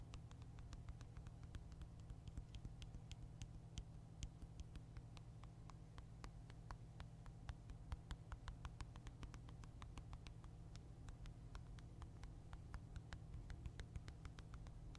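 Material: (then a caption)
Plastic. A black Nintendo Switch console, a handheld-sized hard plastic device held in one hand, has its back rapidly tapped and scratched by the fingertips and nails of the other hand. Quick, sharp, bright clicks and scratches patter irregularly throughout, with no ring after each tap. A steady low hum sits underneath the whole time.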